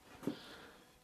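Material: Nothing is struck.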